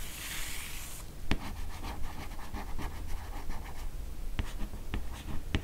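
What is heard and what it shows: A brief hiss opens, then a run of soft, papery strokes with no ring at all, and a few short sharp ticks near the end. It is fingernails scratching across a matte cardboard hardcover, the dry board giving a muted rasp.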